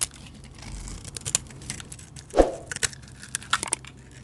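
A utility knife blade shaves curls off a solid cream-colored soap bar with an orange edge, held in the hand. Short, crisp scraping and crunching cuts come at an irregular pace, bright and dry with almost no ring. One fuller, louder cut stands out midway.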